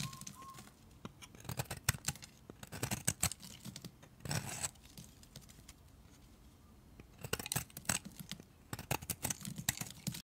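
A utility knife blade shaves strips off a solid pale green bar of soap, making quick, dry scraping and crackling cuts. The cuts come in dense bursts with quieter gaps between them, each one short and bright over a low rustle.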